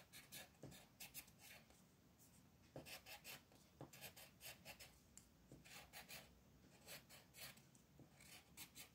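A multicolor wooden colored pencil, held in the fingers, rubs and scratches across a thin printed paper mandala sheet lying flat on a desk while coloring, as the other hand with long red nails holds the sheet still. Quiet, bright, scratchy strokes come in quick repeated bursts with short dry taps and a soft, low rustle underneath.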